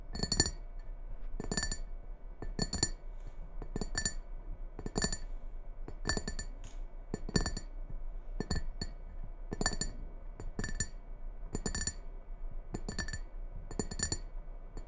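Long red-painted nails tap and scratch the rim and outer wall of a medium red ceramic bowl with a white Christmas tree and star print, hollow and empty, resting on a wooden table. Sharp, bright clicks with a short glassy ring repeat in quick clusters over a steady low scratching rustle.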